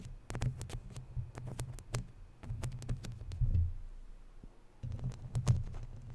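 Fingertips rub the sides of a round, hollow, woven metal mesh microphone grille, then long nails scratch the mesh. The result is a deep, muffled rumble of close friction with soft thumps. It is broken by sharp, bright scratchy clicks that come in uneven bursts.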